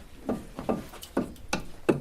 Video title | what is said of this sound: maisondesparaboles | Ça sonne creux, parce que ça, c'est plus ou moins en double paroi.